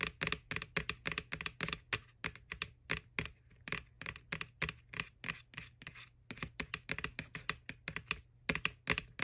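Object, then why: Hollow plastic bucket. Long nails tap rapidly on the side of a white, hollow plastic ghost-shaped McDonald's Halloween Boo Bucket, near its face. The taps come as quick, bright, clicky strikes in uneven bursts that die away almost instantly, over a faint steady low hum.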